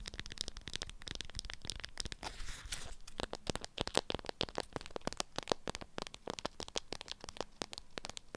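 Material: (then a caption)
Waxed fabric. Long acrylic nails tap and scratch a lemon-print beeswax-coated fabric wrap folded around a small item. Rapid, dry, crisp clicks mix with crinkly, bright rustles, and around the middle a softer stretch of continuous scratching. Each tap stops short, with no ring.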